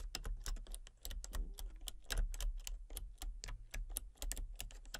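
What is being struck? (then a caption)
Plastic computer keyboard. Fingertips and long painted nails type rapidly on a full-size backlit plastic RGB computer keyboard with hollow key switches and colour-cycling lights. Quick, bright, clicky key taps run unevenly over a steady low hum.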